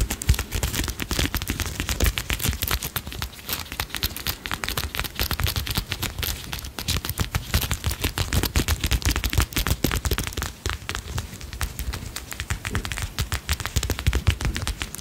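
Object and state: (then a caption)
Metal brooch with set stones. A solid, palm-sized insect or butterfly brooch with a silver-tone metal frame, turquoise-colored stone wings and a blue faceted center stone is tapped and scratched rapidly with long nails right up close. It makes a dense, continuous stream of sharp clicks and scratchy crackles with a heavy low thump under them and bright, crisp edges on top.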